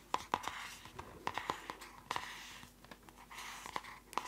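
A closed purple spiral notebook with a plastic cover is tapped quickly with long nails. Short, sharp clicky taps with a ringing tone near 1 kHz come in quick, uneven bursts over a soft, scratchy rustle. Each tap dies away almost at once.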